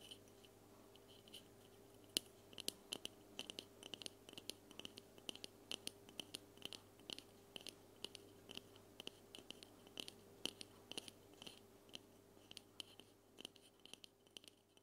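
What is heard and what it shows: A white aluminum aerosol spray can with a grey cap, held upright in both hands directly in front of a recorder, is tapped with long fingernails. Quiet, rapid, irregular clicks with a bright, tinny edge and almost no ring sound over a steady low hum.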